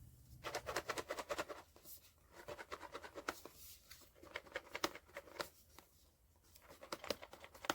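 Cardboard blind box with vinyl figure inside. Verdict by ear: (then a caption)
Secret figure. A sealed POP MART Skullpanda The Sound cardboard blind box holding a vinyl figure, the secret hidden figure The Equilibrium, is shaken and weighed as a tip for finding the secret. Quick bursts of light, dry rattling clicks come in waves as the figure knocks around inside, with short quieter gaps between bursts.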